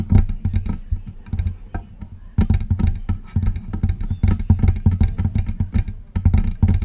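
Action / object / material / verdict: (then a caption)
tap / metal microphone body / metal / none. Long press-on nails tap and scratch the side and front of the body of a silver metal USB microphone. Rapid clusters of close taps come through as heavy, boomy low thumps with bright clicky edges, dying away almost at once. Brief pauses separate the bursts, and softer scratching fills the gaps between them.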